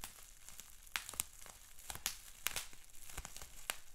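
Fingertips and short nails scratch, crinkle and pinch a large, clear polyethylene bubble wrap sheet with small air-filled bubbles. A quiet, steady crinkling hiss is broken by irregular sharp, bright crackles and snaps that die away almost instantly.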